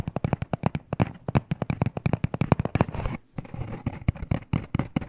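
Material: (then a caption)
Cardboard. Short nails tap fast and scratch across a small, hollow black cardboard necklace box, making rapid, dry, hollow clicks with low body. Bursts of scratchy rustle run between the taps, and a brief pause near the middle is followed by more quick tapping.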